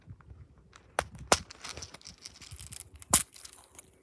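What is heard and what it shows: Fingertips press and pop the colored silicone push bubbles on a hand-sized, flower-shaped pop-it fidget toy with a black hard plastic frame and a bead maze on its reverse side; the toy is also flipped over to the bead side. Three sharp, bright pops stand out over a steady run of softer, quick clicks and crinkly taps, each one dying away almost instantly.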